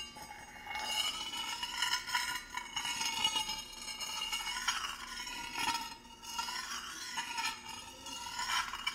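A thin metal spoon or tool stirs, scrapes and taps against the inside of a small, shallow, empty stainless steel dish held in gloved hands. Bright, ringing clinks around 2.9 kHz rise over a steady metallic scraping. The sound is almost entirely high, with very little low end.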